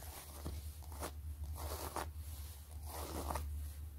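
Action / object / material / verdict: scrape / pebbled leather zip wallet / leather / none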